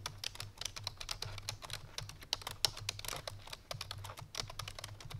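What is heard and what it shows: Both hands type quickly with fingertips and painted nails on a full-size black plastic computer keyboard resting on a white fur rug. A dense run of short, bright key clicks and taps sounds over a faint, steady low hum.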